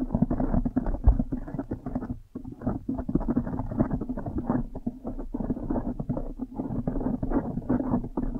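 Long nails and fingers scratch and squeeze a blue foam windscreen on a microphone at a fast pace. The result is a dense, muffled crackling rustle, heavy in the low end and with no bright top, that runs almost continuously with a brief lull a little past two seconds.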